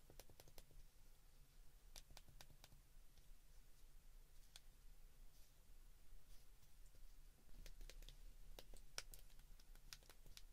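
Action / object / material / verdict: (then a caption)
tap / plastic flip phone keypad buttons / plastic / none. A white plastic flip phone is held in the hands while fingers slowly press its number keys. Short, sharp clicks with bright, crisp tops come in uneven bursts and trail off quickly over a steady low hum.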